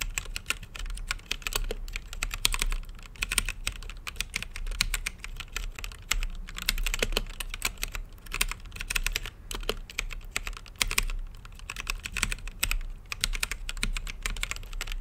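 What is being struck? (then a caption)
Mechanical keyboard with plastic keycaps. Fingertips type steadily on an RGB-lit mechanical keyboard with plastic keycaps and a clear acrylic case. The result is a dense stream of short, sharp clacks with bright high-end clicks over a low thock from each keystroke, with brief pauses between bursts of typing.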